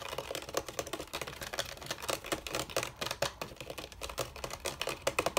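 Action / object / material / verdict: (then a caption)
tap / bamboo chair frame / bamboo / none. Fingertips and nails tap and scratch the hollow bamboo rails of a bamboo chair frame. Quick, dry, clicky taps with a hollow woody tone mix with brief scratchy rasps. They come in a fast, irregular stream with little ring between them.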